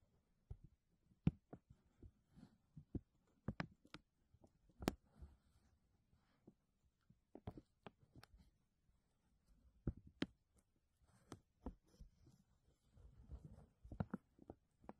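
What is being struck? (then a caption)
Thin textured plastic bag. A thin, clear textured plastic vacuum bag sheet is held and flexed by the fingers over a mesh dome. It makes quiet, irregular crinkles and sharp crackles with short pauses between them. The bursts are mostly soft and low, with brief bright snaps that die away almost instantly.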